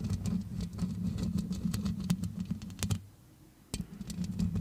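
Long red acrylic nails on both hands scratch and tap the round metal mesh grille of a grey-blue Yeti-style USB microphone. The result is a dense, low, muffled scratching with quick tapping clicks layered on top. The sound drops to near silence for under a second before the scratching and tapping resume.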